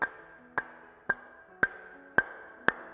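Two clay bricks are struck against each other six times, each strike giving a sharp, high click with a brief metallic ring. The metallic ringing sound marks them as good bricks.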